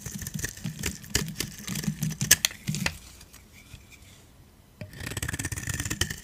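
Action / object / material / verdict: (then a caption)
scrape / dry soap bar / soap / none. A metal blade scrapes powdery flakes off the surface of a solid white dry soap bar held in the hand. Dense, crunchy scraping strokes with bright, gritty highs fill the first three seconds, then fade to near quiet. The rasping resumes just before the fifth second.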